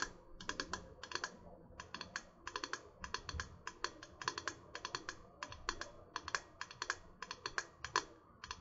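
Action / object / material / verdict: tap / insulated metal water bottle / metal / none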